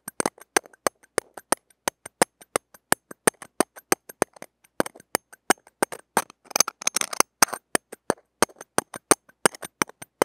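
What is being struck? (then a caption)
Steel mesh microphone grille tapped with a stainless steel pick. Stainless steel tweezers tap and scrape the small, hollow steel-mesh ball grille of a mini microphone. Dozens of sharp, bright metallic ticks with almost no low end and virtually no ring follow one another at an uneven pace. Around the middle of the clip they give way to a brief flurry of rapid scratchy scraping before the taps resume.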